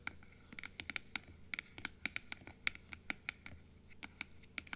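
Long nails scratch and tap the blue plastic inner palate piece of a large, open plastic dental teeth model. The result is a quiet, irregular run of sharp, bright clicks and scratches with almost no ring, over a soft low background hum.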